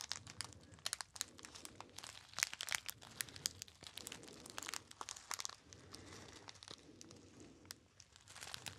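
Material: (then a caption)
Metallized foil. A small, hollow, apparently empty gold metallized foil pouch with a label is crinkled by fingertips. It makes a steady run of quiet, bright crinkles and sharp crackling snaps with brief pauses in between. Each snap dies away almost instantly.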